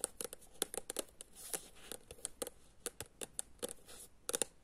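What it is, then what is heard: Paperback book tapped with nails. Long nails tap and scratch the white-and-green illustrated cover of a thin, solid paperback book, "Ako je verovati mojoj baki," held in the hand. About twenty quick, dry clicks with brief scratchy rubs sound in an irregular rhythm, each dying away almost instantly.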